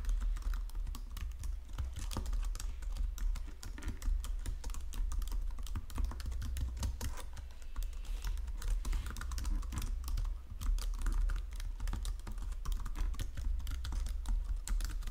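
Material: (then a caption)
Plastic. Fingertips and nails type steadily on a white plastic Logitech keyboard resting on marble, producing a dense, continuous stream of short, crisp clicks and taps. The keystrokes are quick and short-lived, layered over a steady low hum that carries most of the energy.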